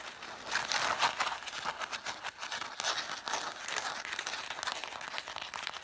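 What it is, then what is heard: Stack of cloth-bound hardcover books. Long dark acrylic nails scratch and tap quickly along the spines of a solid pile of about seven red cloth-covered vintage hardcover books. The result is a steady stream of dry, crinkly scratching with short, bright taps, sitting in the mids and highs with no low end and almost no ring after each stroke.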